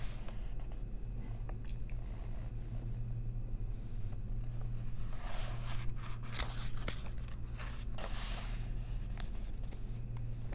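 Long nails flip and hold the pages of an open paper coloring book, giving soft rustling page turns and light scratching, with brighter swishes bunched around the middle of the clip. A steady low hum sits underneath throughout.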